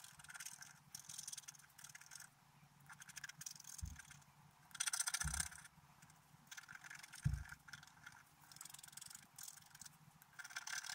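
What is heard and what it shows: A wooden stylus scrapes a flat, black-coated scratch-art paper card, scratching out a picture of a deer with large antlers. Repeated bursts of dry, bright scratching come and go in short strokes, with a few dull low thumps along the way.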